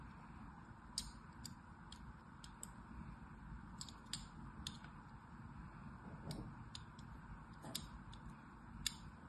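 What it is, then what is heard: Bar of soap being scored with a blade. A thin, needle-like blade held by a long-nailed hand scores crisscross lines into the surface of a solid purple bar of soap held in the other hand. Each stroke makes a sharp, bright, scratchy tick that stops almost instantly, and the ticks come in an irregular series over a low, steady background hum.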